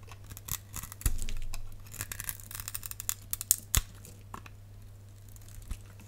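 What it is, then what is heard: Glycerin soap bar being scraped. A box-cutter blade scratches a grid into a palm-sized, solid translucent amber glycerin soap bar held in the hand, then scrapes off small cubes. Quick, crisp scratches and bright clicks come at an uneven pace, with one longer rasping scrape early on, over a steady low hum.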